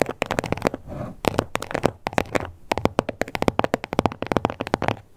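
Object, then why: Embossed leather card holder. Long nails tap and scratch close up on the embossed scales of a small hot pink croc-embossed leather card holder with stitched edges. Quick, dry clicks come in fast bursts, broken by two softer stretches of rasping scratches. Each tap dies away almost at once.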